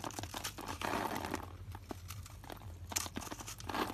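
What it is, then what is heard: Dry bar soap being cut. A metal utility knife blade scrapes and cuts through a solid, dry lilac bar of soap held in the palm and scored in a grid, slicing off small soap cubes that drop away. Dense, crisp crunching and crackling fills the clip in rapid bursts, with bright, scratchy edges over a low steady hum.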